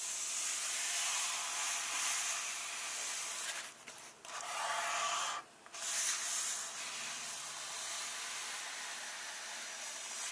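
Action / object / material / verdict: scrape / paper pages of a softcover comic book / paper / none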